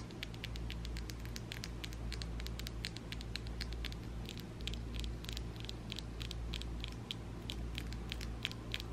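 Long ombre acrylic nails are rapidly tapped and clicked against each other by both hands, giving a quick, irregular patter of short, sharp plastic clicks that peak around 3.2 kHz and reach into the highs. The clicks die away almost instantly over a steady low hum and faint static that run throughout.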